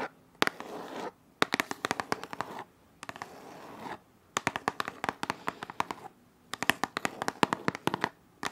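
Long nails tap and scratch across the faces of a printed white cardboard shot-glass box. Rapid clusters of crisp, bright clicks alternate with stretches of dry, papery scratching, separated by brief near-silent pauses.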